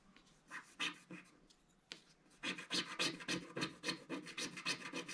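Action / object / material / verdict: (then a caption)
scrape / black-coated scratch-art card scraped with a wooden stick / coated card / none. A wooden stick scratches the coating near the bottom of a flat, solid, black-coated scratch-art card page. A few sparse, dry scratching strokes come first, then a quicker, fairly steady run of short, bright, raspy strokes from about two and a half seconds on. Each stroke dies away almost at once.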